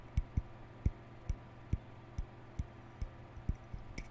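Fingertips and nails scratch and flick the white plastic bristles of a hollow plastic round hair brush with a lilac end cap. The result is ten short, dull, low thumps, each with a faint bright tick on top, spaced unevenly over a quiet, steady low background.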